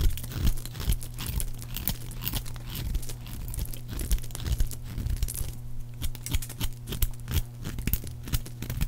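A metal blade carves a solid, palm-sized yellow oval bar of dry soap into thick, crisp flakes. Rapid, dry scraping and crunchy cutting sounds repeat in quick bursts over a steady low hum.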